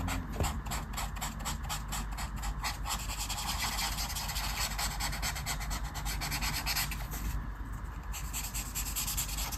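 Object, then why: Felt-tip marker on paper colouring page. A black felt-tip marker is rubbed over a flat paper colouring page on a table in rapid, repeated strokes, filling in dark areas of a mandala. It makes a steady, scratchy rasping with bright, fast stroke pulses over a constant low hum, holding an even level throughout.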